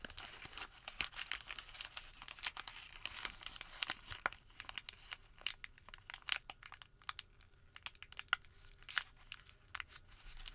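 Fingertips partly unfold a plain white thermal paper receipt, then crumple and fold it. Dense, bright crinkling and crackling rustles dominate, broken by sharp, dry snaps with almost no low end, as the paper crushes into a tighter wad and the sound thins into sparser crackles.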